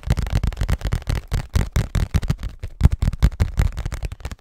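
A hollow cardboard Scotties tissue box, held close to the microphone, is tapped and scratched with fingernails. About twenty quick, dry taps land in an uneven rhythm, each a deep, boomy thump around 80 Hz that dies away almost instantly. Faint rustly scratching fills the gaps between them.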